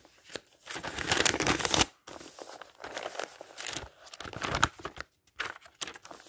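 Fingers turn the thin pages of an open, thick paper dictionary one after another, making crisp, bright rustling and crinkling. A long, loud swish of a page comes first, followed by shorter, softer flicks and crackles with brief pauses between them.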